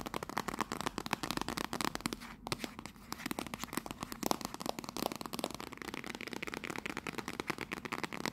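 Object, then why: Cardboard tea box. Long pink nails rapidly tap and scratch a hollow, rectangular teal printed cardboard "Royal Blend" tea box held upright in both hands. The result is a dense stream of short, dry, crackly clicks with scratchy rustling between them and a brief lull around the middle.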